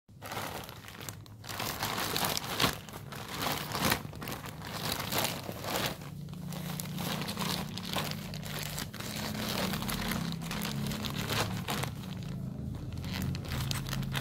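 A thin, printed plastic film bag of balloons, hollow and partly filled with deflated black latex balloons, is held in both hands while fingertips crumple, crinkle and tear it open at its top edge. The result is a dense, continuous stream of bright, crackling crinkles and small tearing sounds. A low, steady hum sits underneath through the second half.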